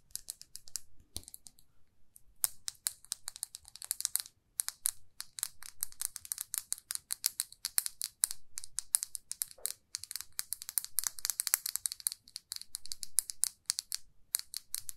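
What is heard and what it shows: A small glossy red lacquered lipstick tube with a silver band is held between the fingers and tapped rapidly with long nails. The taps are dry, bright clicks with almost no ring, coming in quick, dense bursts with brief pauses between runs.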